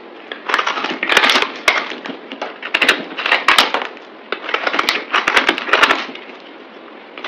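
A palm-sized, solid green speckled bar of soap is cut and scraped into flakes with a utility knife blade, played at double speed. Bursts of dry, bright crackling and crunchy scraping come in quick waves with short quieter gaps between strokes, and no low rumble.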